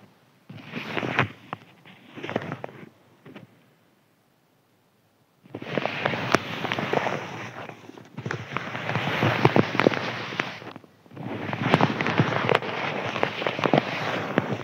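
A thin white crinkly paper sheet lying flat is scratched and rubbed with fingertips and nails. Dense, crackling scratches come in bursts, with a short quiet pause before three longer, steadier stretches of rustling and crinkling.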